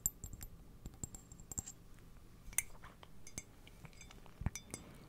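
Fingernails tap and scratch the outside and rim of a hollow, apparently empty white ceramic coffee mug with a printed illustration, held close to the microphone. A quiet series of short, bright clinks and ticks decays almost instantly, with soft low thumps and faint scratchy rustles between the taps.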